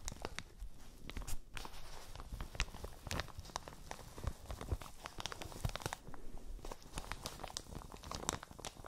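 A thin, flexible, hollow pale green and yellow printed plastic shower cap with an elastic edge is held in both hands next to the microphones and crumpled and crinkled with fingertips and nails. The result is a continuous, dense stream of sharp, dry crackles and crinkles with quick tearing-like snaps. Soft low handling bumps run underneath.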